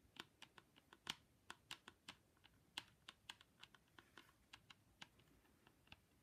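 Long pink stiletto nails tap on the curved mirrored plastic lens of a pair of plastic ski goggles, with the frame in view. About 23 sharp, bright clicks sound at an uneven pace. Each one cuts off almost instantly, with little low-end body.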